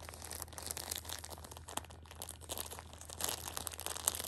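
A Shopkins pocket tissue 6-pack in clear plastic film is held in hand while a thumb and long red nails press and scratch the plastic, crinkling it. Dense, bright crackles and scratchy crinkles run continuously with small sharper snaps, over a faint steady low hum.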